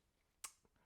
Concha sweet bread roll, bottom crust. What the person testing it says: If you tap on it, it'll also make a hollow sound.